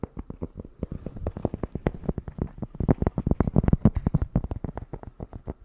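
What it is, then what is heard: Cork tapping. Dense, quick tapping on cork fills the clip with soft, dull, low-pitched knocks that die away almost instantly. The taps come in an uneven rhythm, a little over three per second, and grow slightly louder toward the middle before easing off.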